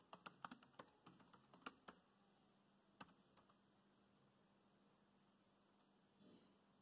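Fingertips of both hands tap the keys of a dark grey plastic laptop chiclet keyboard, typing in a quick burst of short, sharp clicks for about two seconds. A few more taps follow around the three-second mark, then only a faint steady low hum remains, with a brief soft rustle near the end.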